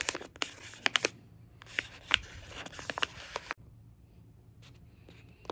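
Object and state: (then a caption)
Plastic-foil food pouch being scratched. A fingertip with a nail traces and rubs over the printed surface of an orange Uncle Ben's Ready Rice pouch, made of plastic/foil laminate and appearing full. It gives bright, crinkly scratching with sharp, quick clicks and taps. After about three and a half seconds it drops to faint, quiet rustling with a few soft ticks near the end.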